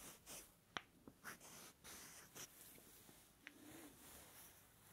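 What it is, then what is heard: Small wooden blocks rubbed together. Two small, solid, light wooden blocks are held together and rubbed and scratched against each other with fingers close to the mic. Soft, bright scratchy rustles come in short swells, broken by a few sharp, quick clicks that stop almost at once. The overall level stays quiet.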